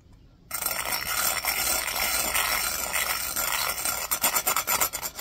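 The bristles of a black plastic hairbrush scrub the outer surface of a clear, empty, hollow drinking glass with a raised embossed pattern, held in one hand. After a brief quiet start, a steady, bright rasping rub sets in, with a faint tone near 1.3 kHz. It breaks into quick, separate strokes toward the end.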